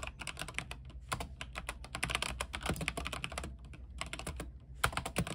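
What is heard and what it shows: Both hands type rapidly with their fingertips on a backlit mechanical keyboard with white plastic keycaps on an aluminium frame. The result is a fast, continuous stream of short, bright clacks with very little ring, over a steady low hum. Brief pauses break up the flurries of keystrokes.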